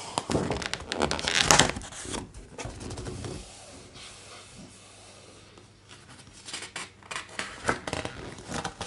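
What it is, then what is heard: Hardcover art book with thick glossy pages. A thick glossy paper page of a large, open hardcover art book is flipped with a loud, bright crinkling rustle that peaks around the middle of the turn. After a quiet pause, fingertips tap and rub across the smooth page surface, making soft, irregular papery taps and swishes.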